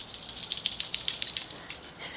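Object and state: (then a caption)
Dried seed pod full of seeds. A dried Aquilegia (columbine) seed pod is shaken, giving a quick series of light, dry, high-pitched ticks and rattles with almost no low end. The ripe seeds are falling out, showing the pod is full of seed.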